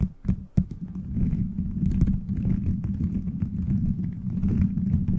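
Fingertips tap and scratch the plastic beads of a gummy-bear cover fitted over a microphone. A few sharp, isolated taps at the start give way to a steady, dense, low-pitched crackling rustle with a humming body and little brightness. The sound is close and muffled, with no ringing after each contact.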